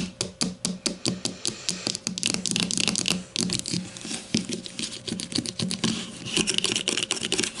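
A grey plastic deodorant stick lying on its side on a table is tapped with the long matte nails of both hands. It gives rapid, crisp, dry clicks with a bright plastic edge and almost no ring, coming in quick irregular flurries that sometimes blur into a dense patter.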